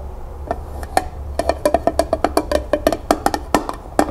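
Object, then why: Small upside-down tin pail. Long nails rapidly tap the flat bottom of a small, empty tin pail placed upside down on a table. About twenty-one quick, hollow metallic taps sound at an uneven pace, each with a clear mid pitch and a brief ring, over a low background hum.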